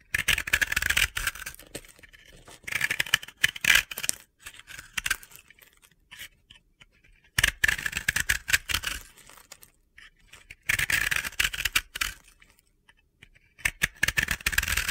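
A utility knife scrapes the flat face of a solid, powdery, round blue and yellow bath bomb held in the hand, and crunchy, gritty powder falls away. The scraping comes in bright, crackly bursts separated by short quiet pauses.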